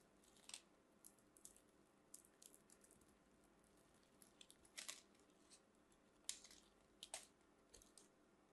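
A metal craft knife blade scrapes and carves small flakes from the edge of a solid white soap bar held in the fingers. A string of short, bright, crisp scraping and crunching cuts sounds against a quiet background, some sharper and louder than others. There's almost no low end and no ringing after each cut.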